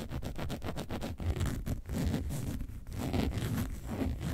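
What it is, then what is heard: Faux leather box bag scratched with nails. Long nails scratch the side and front of a hollow, upright, box-shaped yellow faux leather bag made to look like a lemonade carton. A quick run of short rasping strokes gives way to longer, steadier scratching that sounds dull and muffled, with most of its weight low and very little high brightness.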